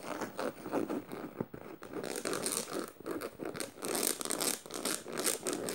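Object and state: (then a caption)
Studded canvas tote bag. Fingernails scratch a black canvas tote bag studded with metal in quick strokes. The result is a steady run of dry, rasping scratches with a bright, hissy top, rising and falling in short, rhythmic bursts.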